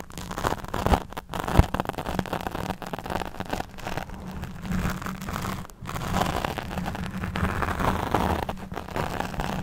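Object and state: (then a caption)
Foam microphone windscreen. Long nails and fingertips of both hands scratch and stroke a soft, porous black fuzzy foam windscreen over a large USB microphone. The result is a dense, continuous rasping and rustling with a heavy low rumble, rising and falling in uneven bursts, with a few brief near-silent gaps.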